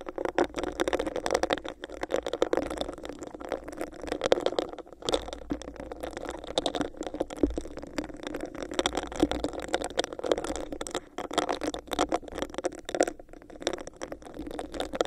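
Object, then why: Textured plastic cup. Long nails scratch over a hollow, empty, clear bumpy plastic cup held over the mic. A steady stream of fast, dry scratching and rattling scrapes carries a hollow, boxy resonance in the midrange, with brief bright ticks throughout.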